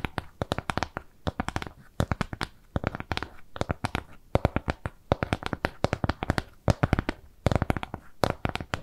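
Long nails scratch and tap across a flat, round piece of brown kraft cardboard trimmed with jute. The result is a rapid, irregular run of dozens of short, dry taps and scratches, mostly dull and low, with clicks that die away almost instantly.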